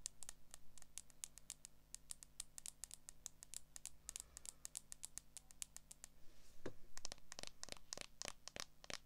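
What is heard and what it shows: Long acrylic nails tap and scratch the back and edges of a smartphone in a transparent plastic case held in both hands. About fifty sharp, bright clicks come in a quick, uneven patter, each dying away almost at once, over a steady low hum. The taps grow louder and denser in the last few seconds.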